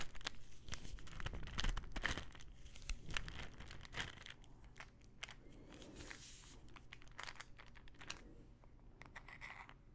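Fingernails tap quickly on the body and teal cap of a small plastic pill bottle full of pills. The result is a rapid, uneven run of crisp, bright clicks over a soft, low rattle. The taps are loudest early on and grow quieter toward the end.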